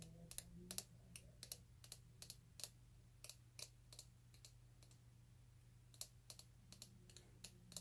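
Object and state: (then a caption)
Plastic vitamin bottle tapped with fingernails. A small, hollow orange plastic vitamin bottle with a white cap is held close and tapped and scratched with fingernails. About 26 sharp, dry clicking taps are spread unevenly across the clip, with faint scratchy rustling between them. A steady low hum runs underneath.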